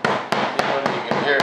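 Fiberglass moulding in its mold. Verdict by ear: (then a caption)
Loose. A mallet taps lightly at several places along one side of a fiberglass F-105 Thunderchief RC jet fuselage half still in its mold, giving a series of short, evenly spaced, hollow knocks with a brief midrange ring. The part is loose from the mold on that side.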